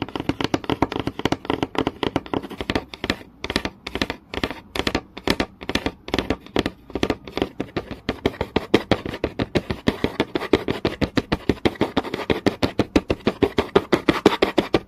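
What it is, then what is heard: Wooden board tapped with nails. Long nails tap fast on a flat, solid wooden board with visible grain, making rapid, dry, close-up clicks with a hollow midrange knock and almost no ring. The taps come in quick flurries broken by short gaps, then settle into a dense, steady patter toward the end.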